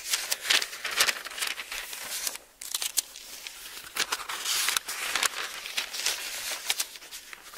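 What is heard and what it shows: An open Bible with thin paper pages is held in both hands while the pages are turned with fingertips, giving a stream of bright, crisp rustling and crinkling with quick fluttering bursts and almost no low end. The rustle briefly drops to near silence midway before the page turning resumes.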